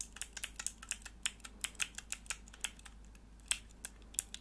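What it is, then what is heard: Plastic keyboard switch tester. Long nails press, click and tap the grey plastic keycaps on a hollow plastic mechanical keyboard switch tester, a small clear plastic block with four mechanical switches held close to the microphone. About twenty short, bright, dry clicks and taps come in an uneven rhythm, each dying away almost instantly, over a faint low hum.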